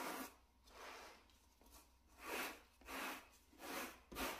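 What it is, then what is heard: Shag carpet mat being brushed. A small grey plush shag carpet mat, solid and flat, is brushed with a wooden-backed natural-bristle brush held in a gloved hand. Repeated soft, breathy scrubbing strokes swell and fade in an uneven rhythm. Each stroke has a bright, hissing texture and no ring.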